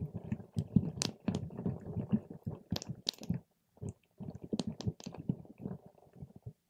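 A paper straw is stirred and poked through a clear plastic cup full of purple water gel beads. The result is a dense run of soft, wet, low squelching and squishing, with occasional bright clicks as the beads shift. The sound breaks off briefly in the middle before resuming.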